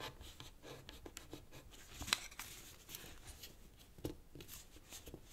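Fingertips fold a thin light-green origami paper sheet on a black cloth-covered table and rub along its crease edges. Soft, dry, crinkly paper rustles with brief crisp snaps, mostly bright hiss with little low end. The paper is creased and smoothed into folds.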